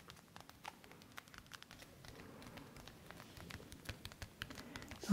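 Fingertips and short nails tap and scratch the hollow plastic ear cups and headband of black over-ear headphones with padded cushions, held close. The result is a rapid, uneven patter of light, dry clicks over a low, soft rustling bed, ending with a slightly louder tap.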